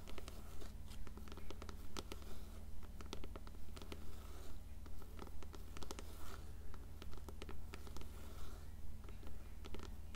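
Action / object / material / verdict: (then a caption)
tap / paperback book cover / paper / none. Long fingernails tap and scratch the cover of an upright, closed blue paperback copy of *Coraline*, making quick, bright clicks and raspy scrapes in a steady, rapid rhythm. A constant low hum runs underneath throughout.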